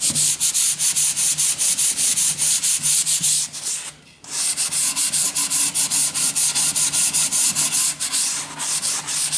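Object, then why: Wooden plank. A yellow sanding sponge held in the hand is rubbed back and forth along the edge of a long, thin, solid wooden plank held at an angle. Steady, rhythmic strokes make a bright, dry, scratchy hiss with little low end. There is a brief pause near the middle before the sanding resumes.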